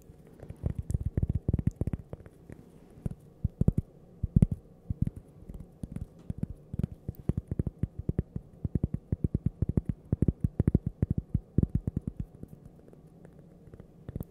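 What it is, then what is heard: Cork coaster. A small, flat, solid cork coaster shaped like a slice of toast is held in the hands near the microphone and tapped and scratched with long purple-painted nails. Rapid, irregular clusters of soft, dull, low taps with almost no ring sound over faint scratching. The steady, close, muffled patter continues throughout.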